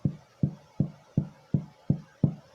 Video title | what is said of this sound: Sourdough Starter Series | you give it a thump on the bottom and you can probably hear that it sounds Hollow